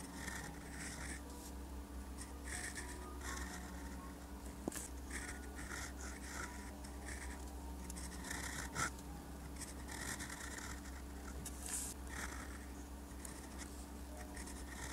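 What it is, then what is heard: Paper sheet being written on. A gold-nib fountain pen held in the fingers scratches across a thin, solid sheet of lined white paper lying flat while writing Korean characters. Soft, bright nib scratches come in short bursts, with a few sharper ticks, over a steady low hum.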